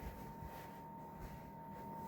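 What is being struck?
Nothing is struck.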